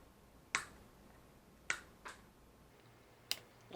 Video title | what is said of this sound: Chuck Wagon Prototype Trailer and Turret Construction Warhammer 40K Genestealers Cult Goliath | it sounds like plastic? Because it basically is.